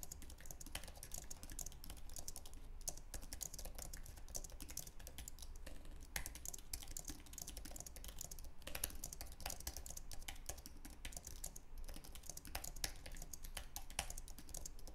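Both hands type continuously with their fingertips on a white, low-profile Apple Magic Keyboard with an aluminum base and plastic keys. A rapid, steady stream of short, crisp key clicks with bright high tones runs over a constant low hum throughout.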